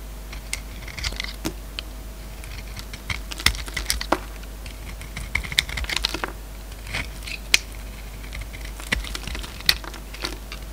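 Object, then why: Solid bar of soap shaved with a steel blade. An oval solid bar of soap with a dark purple glittery coating over a green core, held in one hand, is shaved by a steel utility-knife blade, its scraping and cutting strokes peeling off curls. The strokes make crisp, bright, crackling scrapes and sharp little clicks in irregular bursts over a quiet, steady background.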